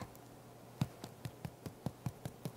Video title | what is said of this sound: No Knead Soaked Flour Bread Recipe Using Whole Wheat Flour - No Dutch Oven Needed! | Almost sounds like a hollow drum. That's the sound that you're looking for and you know that it's baked inside.